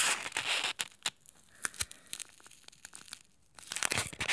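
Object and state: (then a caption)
Styrofoam block. A small, solid white styrofoam block, resting on a table and held in the hands, is scratched and pressed with short nails and thumbs. Dense, bright, squeaky scratching and crinkling open and close the clip, with sparse sharp clicks and scrapes in the quieter middle.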